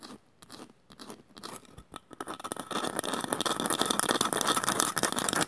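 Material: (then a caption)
Bamboo. Long matte nails scratch and tap the woven surface of a small, shallow, hollow woven bamboo bowl that is empty. Sparse, dry crackling taps start quietly, then build into a louder, dense, bright scratching texture that continues to the end.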